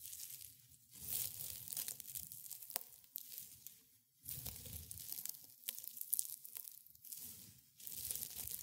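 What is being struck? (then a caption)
Dried rosebuds and petals. A pile of dry rosebuds and petals on white cloth is pressed and crumbled between fingers in black and gray felt gloves. Brittle, bright crunching and crackling comes in several bursts separated by brief quiet pauses, with a faint low rustle underneath.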